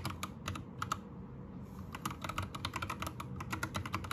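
Both hands type with their fingertips on a white 60% Anne Pro 2 mechanical keyboard with plastic keycaps and a changing RGB light. Sharp, short plastic clacks with bright tops and a mid-range knock come in a quick run. A brief lull early on gives way to denser, faster typing over a steady low background rumble.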